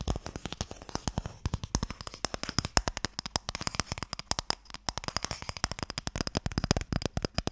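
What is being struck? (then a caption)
Small wooden stick box. Fingertips and nails tap quickly on the lid of a small, closed, pale wooden Mikado box, a hollow box that holds sticks. The result is a steady, irregular stream of short, dry clicks with a soft, hollow low thump beneath and bright nail ticks on top. Each tap dies away almost instantly.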